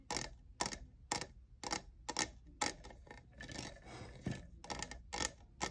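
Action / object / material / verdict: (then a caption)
tap / textured plastic cup / plastic / none. Fingernails tap a hollow, lavender, diamond-textured plastic cold cup near its frosted logo. Sharp, bright clicks with a short hollow plastic ring come at roughly two per second in a loose rhythm, with a softer scratchy stretch in the middle.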